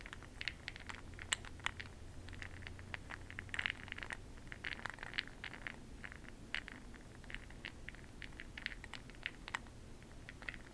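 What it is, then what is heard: Glass jar of bronzing pearls. A makeup brush dips into a small clear glass cup full of bronze makeup pearl beads held in a hand and swirls them, so the pearls rattle against the glass. The result is a steady stream of quiet, sharp clicks and light scraping centered near 3 kHz, with brighter high ticks. A low hum sits underneath, strongest in the first few seconds.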